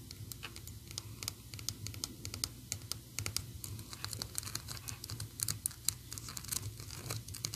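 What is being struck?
Small painted PVC figurine on a plastic base.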